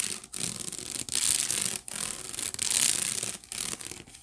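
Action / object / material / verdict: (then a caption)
scrape / woven wicker basket / wicker / none. Fingertips and long nails scratch and rub the woven bottom of a hollow, empty white wicker basket. The result is a bright, dry, rasping scratch in long continuous strokes, broken by brief pauses, with almost no low end.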